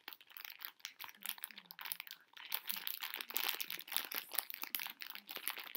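A plastic bag full of hard conversation heart candies is tapped and scratched with long nails while the hands tilt it to shift the candies inside. Dense, bright crinkling and crunching rustles run throughout in quick, overlapping bursts, with the small candies rattling against each other under the plastic.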